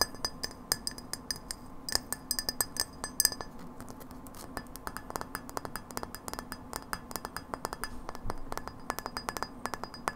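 Long nails tap a frosted incandescent light bulb, a hollow, thin glass bulb with a metal screw base, held in the hands. The result is a quick run of sharp, bright glassy clinks, each dying away almost at once, over a low steady hum.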